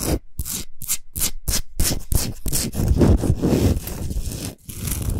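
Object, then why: Rock salt block. Long nails scratch quickly across the top surface and side edges of a large, flat, rectangular solid block of pink Himalayan rock salt. The scratching starts as rapid, separate gritty strokes, then blurs into a continuous dry rasping with a low rumble underneath. There is a brief pause near the end before the scratching resumes.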